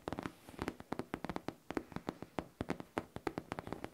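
Fingertips and long nails tap and scratch the surface of a hollow pink faux leather backpack. About 25 quick, dry taps land in an uneven rhythm, each with a soft, muffled mid-low tone and almost no ring. Faint scratchy rustling fills the gaps between the taps.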